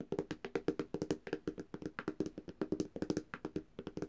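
Long dark-painted nails of both hands tap quickly on the glass screen of a flat black Samsung tablet, a thin solid device. There are about 29 short, dry clicks with a low-mid knock around 300 Hz, each stopping almost at once with no ring.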